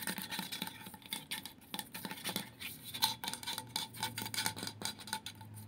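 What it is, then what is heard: Stainless steel water bottle. A tall light-blue powder-coated insulated stainless steel water bottle with a black loop lid, hollow, is held in both hands and tapped and scratched along its side with fingertips and nails. The result is a rapid, uneven run of light taps and scratchy swipes, mostly bright, with a short metallic ring around 880 Hz that dies away quickly after each tap.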